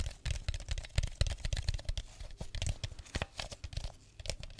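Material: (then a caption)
Plastic. An empty clear plastic drink bottle with a red cap is crinkled and tapped with fingers close to the mic. Quick, dry crackles and taps follow one another in a dense run, with a heavy low thump under each and brief bright clicks on top. Each sound dies away almost at once.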